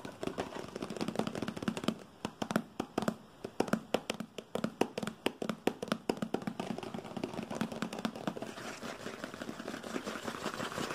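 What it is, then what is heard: Paperboard box. A small, hollow white printed paperboard product box labelled for glass products with a handle-with-care warning is held in hand and tapped quickly with fingertips and nails. Dense, dry, papery taps and clicks follow in fast irregular bursts over a low hollow resonance, easing into softer rustling scratches toward the end.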